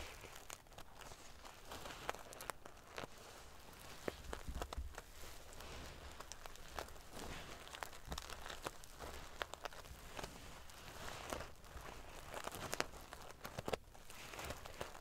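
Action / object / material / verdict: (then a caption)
scrape / fabric pillow covered in small metal sequins / metal sequins / none. Long painted fingernails and fingertips ruffle and scratch back and forth across a decorative, soft-filled cushion covered in rows of small silver metal sequins sewn onto fabric, flipping the sequins. The result is a quiet, continuous crinkly rustle with a low rumble underneath, punctuated throughout by many sharp, bright little clicks and ticks that die away instantly.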